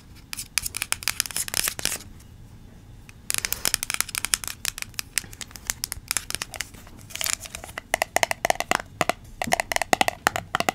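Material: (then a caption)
Plastic. Long acrylic nails tap and scratch the sides and lid of a small yellow plastic Play-Doh tub with a green plastic lid, held close to the mic. Rapid, bright, dry clicks and crisp scratching come in quick bursts, with a short quiet pause near the two-second mark. The taps grow denser and sharper toward the end.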